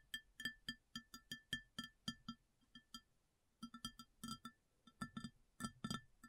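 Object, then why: Upturned ceramic plate. Long nails tap and scratch the base of a round white ceramic plate turned upside down, hollow underneath. The quick, bright clinks carry a short ringing pitch near 1.8 kHz. A steady run of taps pauses briefly around the middle, then resumes in faster, tighter clusters.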